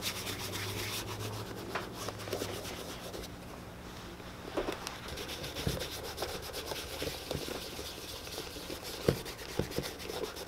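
A tan leather boot is held in one hand and rubbed with a cloth by the other, making a continuous hollow, brushy rubbing sound with bright, scratchy texture. A steady low hum runs beneath it, and a few sharper taps stand out near the end.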